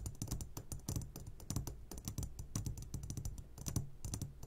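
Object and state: Glass candy jar.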